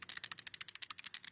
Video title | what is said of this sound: 1984 Cadillac Seville restoration - part 3 - so close yet so far - Feb. 19 2024 | which there was rattling it's still good